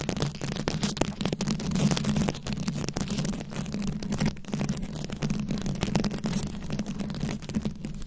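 Very long acrylic nails scratch and tap a round, fist-sized microphone head covered in plastic rhinestones and beads. The result is a continuous, dense stream of rapid crisp clicks and rattly scratches over a steady low hum.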